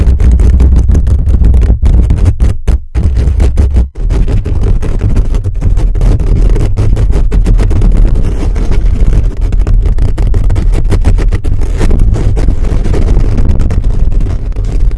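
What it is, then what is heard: Metal mesh microphone grille being scratched. Fingertips and short nails scratch a hollow black metal mesh microphone grille fast and aggressively for the whole clip. The sound is a loud, dense, boomy rumble of rapid scraping, with almost all its energy in the deep lows and very little brightness. It briefly drops out around 3 and 4 seconds before the scratching resumes.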